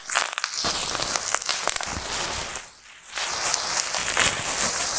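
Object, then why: Plastic bubble wrap sheet. A large sheet of clear, light, air-filled plastic bubble wrap is scratched and crinkled with long painted nails and fingertips, then lifted and squeezed in both hands. It makes dense, bright crinkling and crackling with sharp little snaps. The sound dips briefly quieter just before the third second, then returns to steady rustling.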